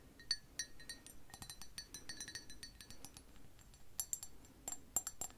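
An empty, hollow blue speckled glazed ceramic coffee mug with a white handle is held in the hand and tapped with long acrylic nails on its sides and bottom. A quick series of light, bright clinks and ticks follows, each with a short, high ringing tone that dies away almost at once. The tapping comes in irregular bursts, with a few sharper, louder taps near the end.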